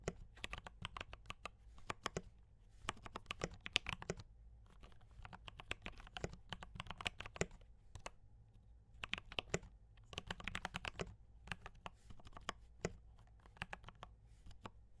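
Both hands type fast with fingertips and short nails on a compact D84 mechanical keyboard with Gateron brown switches, foam dampening and cream and red plastic keycaps. Dense bursts of short, crisp, bright key clacks come in runs, with brief quieter gaps around 4.5, 8.5 and 11.5 seconds. A faint steady low hum sits underneath.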